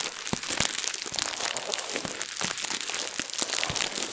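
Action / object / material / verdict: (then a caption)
scrape / thin plastic bag / plastic / none. A translucent plastic bag, balled loosely, is squeezed and crumpled with both hands and long nails. It gives a steady, dense crinkling full of bright, crisp crackles and sharp little snaps, with almost no low end. The crackle runs without pause for the whole clip.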